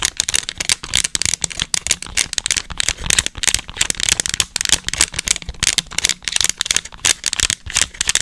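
Long acrylic nails rapidly tap and scratch the rubber buttons and casing of a small, hollow, black plastic TV remote control held in front of the microphone. The result is a fast, dense stream of bright, dry clicks and scratchy rattles, each tick dying away almost instantly with very little low end.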